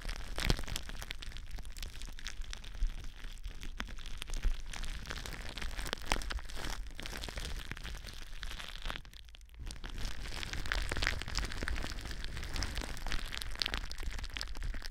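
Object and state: Plastic bubble wrap.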